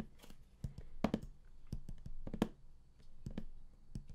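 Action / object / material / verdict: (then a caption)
tap / large cardboard box / cardboard / none. Fingertips and nails of both hands tap the top of a large printed StarCraft collector's edition box, likely cardboard, lying flat. About 14 quick, hollow taps sound, each a dull low thump with a short click that dies away almost at once, in uneven bursts with a few louder strikes.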